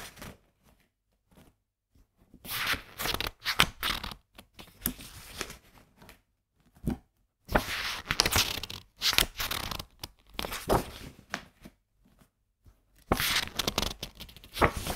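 Fingertips quickly flip and turn the coated printed paper pages of a softcover graphics book held open, beside a recorder that is not touched. Clusters of bright, crisp rustling and papery swishes come in bursts separated by short quiet gaps.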